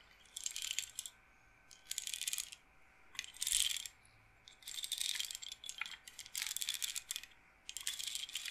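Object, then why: Wooden bead roller massager. Long nails and fingertips run over the rows of wooden beads on the rods of a hand-held, solid-wood bead roller massager, rolling and clacking them. The result is several short bursts of dense, bright, rattling clicks separated by quiet pauses, with almost no low end.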